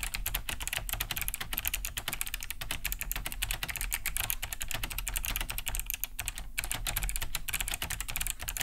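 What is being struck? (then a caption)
Plastic mechanical keyboard. Fast two-handed typing on a large beige Cherry G80-3000 mechanical keyboard with a hollow plastic case and thick plastic keycaps, fitted with Kailh BOX White switches and resting on a wooden desk. A steady, dense stream of crisp, clicky key-switch taps is heard, bright on top over a low hollow thock from the casing.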